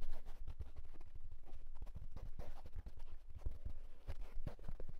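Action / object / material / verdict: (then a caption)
tap / wool tweed fedora hat / wool tweed / none. The crown of a hollow houndstooth wool tweed fedora is tapped and scratched rapidly with fingertips and short nails. A quick, continuous run of dull, low, muffled thumps mixes with soft fabric scratching, and each tap dies away almost instantly.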